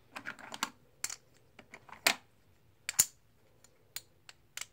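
Solid plastic or composite poker chips are dropped one by one from the fingertips onto a stack held in the palm. They make sharp, bright clicks and clacks that die away almost at once, spaced irregularly with short quiet gaps between them.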